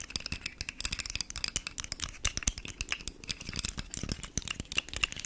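A rainbow, segmented, hard plastic articulated fidget slug toy is held near the mic while long nails scratch along its segments. The segments rattle and click in a rapid, dense stream of short, dry, bright ticks with a soft low thump beneath, and each click dies away almost instantly.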